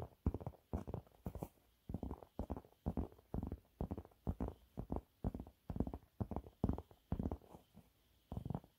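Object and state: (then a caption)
Textured cleaning cloth scratched with nails. Fingernails scratch the surface of a yellow waffle-textured cleaning cloth held upright. The result is quick, soft bursts of dry, muffled scratching, heavy in the low end, separated by brief silences at an uneven rhythm.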